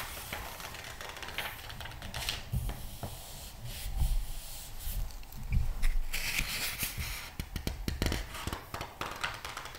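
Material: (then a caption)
Glossy paper. Fingertips rub and turn the glossy paper pages of a thick glossy magazine lying open, making bright swishing and crinkling paper sounds. Soft low thumps and brushing come in an uneven rhythm, with a few louder page turns in the middle.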